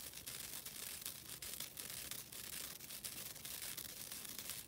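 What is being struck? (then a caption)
Synthetic nylon scouring pad. A flat, thin, solid green nylon scouring pad, a synthetic abrasive pad held in the hands, is scratched with long dark-blue nails. It gives a steady, quiet, bright rasping scratch with quick repeated strokes that blend together, with almost no low end.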